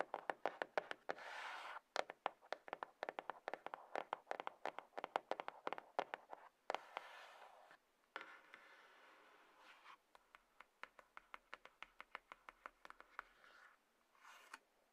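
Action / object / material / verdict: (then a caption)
tap / small cardboard box / cardboard / none. Long nails tap and scratch the sides and top of a hollow, light grey cardboard iPhone box resting on a table. Quick runs of dry, hollow clicks with almost no ring alternate with softer, bright scratching passages, all at a quiet level.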